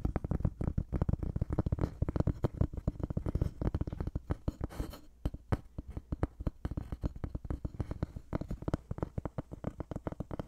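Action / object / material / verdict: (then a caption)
tap / thin wooden board / wood / none. A thin, light-colored wooden board held close is tapped and scratched with fingertips and nails. Dense, dry, low, hollow taps follow each other rapidly, with almost no ring and soft scratching between them. A brief scratchy brush near the middle breaks the rhythm before the tapping resumes.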